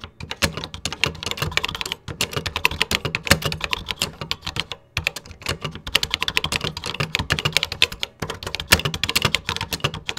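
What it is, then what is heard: Plastic computer keyboard being typed on. Fingertips type continuously on the beige keys of a vintage 1980s plastic computer keyboard, producing rapid, bright plastic clicks and clacks with a light low thump under each keystroke. The typing runs in bursts with brief pauses at about 2, 5 and 8 seconds.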